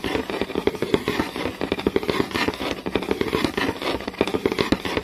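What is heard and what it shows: Fingertips and long nails tap rapidly on a flat, solid wooden board with visible grain and scratch along the grain. The result is a fast, continuous patter of sharp, dry clicks that stop almost instantly, with a woody, mid-pitched knock and a scratchy, bright edge.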